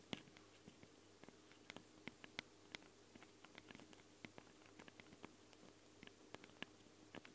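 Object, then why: Handheld recorder microphone capsules, metal grille and plastic. Long blue nails tap and scratch directly on the two X-Y microphone capsules of a Tascam handheld recorder, with small, hollow capsules, ridged metal grilles, red rings and a black plastic body. About two dozen quick, sharp, dry clicks and light scratchy patter land irregularly over a soft, steady low hum. The hits are close and bright, with no ring after each one.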